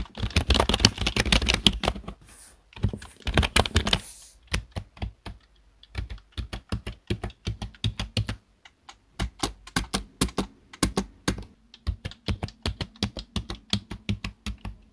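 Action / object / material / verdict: tap / plastic computer keyboard / plastic / none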